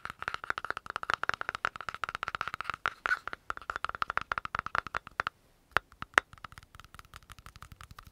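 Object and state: Plastic cosmetic jar.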